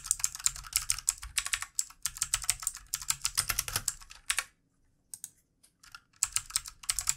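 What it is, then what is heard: Plastic mechanical keyboard. Fast fingertip typing with both hands on a full-size backlit plastic mechanical computer keyboard with plastic keycaps makes a dense stream of bright, crisp clicks with a soft low thud beneath. The typing thins to a few scattered taps partway through, then picks back up in quick bursts.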